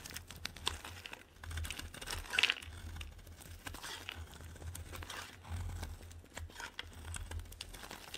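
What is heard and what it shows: A metal blade scrapes long curls off a solid pink bar of soap, making a steady dry, crinkly rasp with bright texture and a faint low hum underneath. The scraping swells to its loudest stroke a little past two seconds, then continues in softer, uneven passes.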